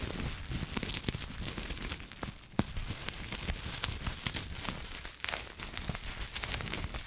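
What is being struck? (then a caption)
Plastic bubble wrap. Long nails scratch and squeeze clear plastic bubble wrap held in the hands. The result is a steady, dense crinkling and scratching with bright, sharp crackles, plus one louder snap partway through.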